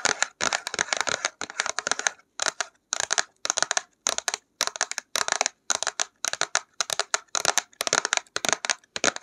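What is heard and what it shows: A flat printed cardboard box of acrylic paints is held in both hands and tapped and scratched with long acrylic nails. Quick bursts of crisp, dry tapping and scratching come in short clusters separated by brief silences, with a bright, papery sound that has no low end and no ring.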